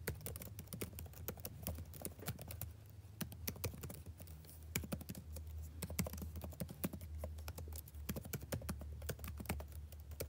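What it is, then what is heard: Laptop keyboard typing. Fingertips type continuously on the black plastic keys of a backlit laptop keyboard with a blue backlight. The result is a steady stream of quick, crisp clicks over a constant low hum.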